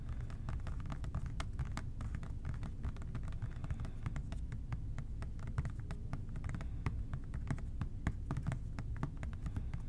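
A medium-size hollow OxiClean plastic trigger spray bottle, its liquid content not visible, is held in both hands and tapped with fingertips and short nails. Rapid, soft, dry clicks and taps that die out almost instantly sit over a steady low rumble and hum. The tapping continues evenly throughout.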